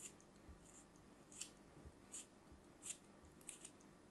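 A small solid piece of kinetic sand, held in fingers with long pink nails, is cut into thin slices with a small metal knife. Several soft, crisp scraping bursts with a bright, sandy hiss are heard as the blade slices through the packed sand, over a quiet, low background.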